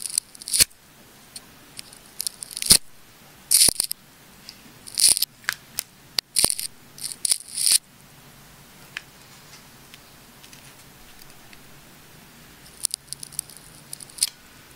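A small craft blade scratches and cuts into the layers of a palm-sized, solid ball of transparent wound plastic tape with small dark inclusions, held in the fingers. Bright, crackly scrapes and sharp snipping clicks come in short clustered bursts, separated by quiet pauses, with a final cluster near the end. The sound is almost entirely high and dry, with each crack dying away almost instantly.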